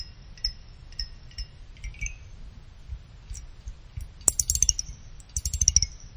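A pick plucks the side fins of a small finned aluminum CPU cooler heatsink, making them ring like chimes. Scattered single high, bright pings come first, then two quick runs of stepping pings. Each ring dies away fast over a faint low rumble.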